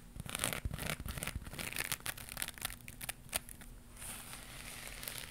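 Long pink nails scratch a round crocheted yarn pad with a rainbow pattern and white edge, held in one hand. The result is a dense run of bright, rasping, crinkly scrapes with a low steady hum underneath. Near the end the scratching settles into a softer, continuous hiss.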